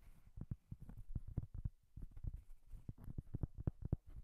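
Long dark-painted nails tap and scratch quickly across the surface of a large, flat, round, solid cork coaster held in both hands. The result is a fast, irregular run of soft, dull, low thuds with no ring, mixed with faint brushing scratches between taps.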